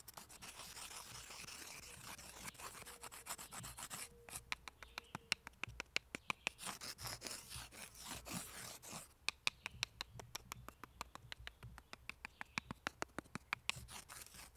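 A thin, solid forked tree branch with bark is held in both hands in front of the microphone while fingers rub and scratch along its bark. The result is a dense, bright, crackly scraping texture broken by many sharp, dry clicks that die away almost instantly, with a brief quieter pause around four seconds in.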